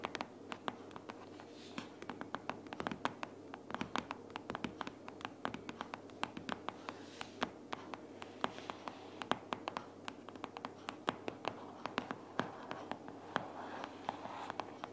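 A closed pink paperboard sticky-notes organizer is tapped rapidly with the long purple nails of both hands. The result is a dense, uneven stream of quick, dry, crisp clicks and taps with a hollow, papery body and almost no ring, at a fairly quiet level.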